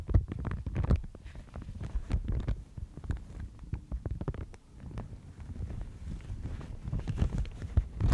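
A thin, fibrous sheet of white Thai mulberry paper is held in both hands and bent and crinkled by the fingers. The result is soft, muffled crinkling with many quick, dull crackles over a low rumbling rustle that rises and falls in brief bursts throughout.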